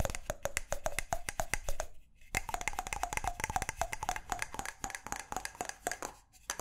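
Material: Wood.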